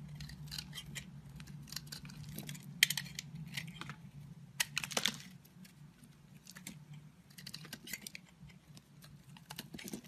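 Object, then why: Soap bar cut with a blade. A square blade cuts into and scrapes an oval, solid blue marbled soap bar, shaving off crumbly flakes. The result is a rapid run of crisp, bright crackles and scratchy clicks over a faint, steady low hum, with a few sharper snaps standing out near the three- and five-second marks.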